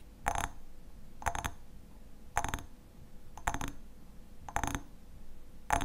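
Fingernails tap the sides of an upright hexagonal glass honey jar with a black metal lid and visible contents, held in both hands. About six short clusters of bright, clicky taps with a faint glassy ring near 840 Hz fall roughly once a second over a soft low background hum. Each tap dies away almost at once.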